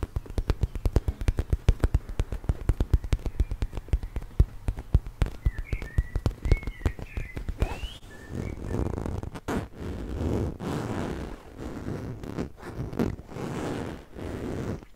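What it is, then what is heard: Fabric cushion. Fingertips and nails scratch the surface of a large, soft, orange woven fabric cushion. For about the first eight seconds there is a fast run of short, dull, bass-heavy scratching taps, with faint chirps in the background. The taps then turn into longer, continuous bursts of rough, brushy scratching.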